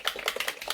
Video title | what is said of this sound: MONTHLY FAVES & FAILS//MAY EDITION//LIFE UPDATE | You shake it, and it's super liquidy.